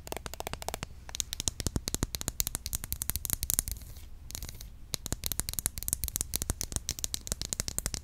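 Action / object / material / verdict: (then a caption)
tap / plastic roll-on deodorant bottle / plastic / none. A small, hollow green and pink Mitchum plastic roll-on deodorant with a plastic cap is held upright and tapped quickly with long acrylic nails. The result is a rapid, uneven run of sharp, bright plastic clicks with a hollow low thump beneath, pausing briefly near the start and again around the middle before the fast tapping resumes.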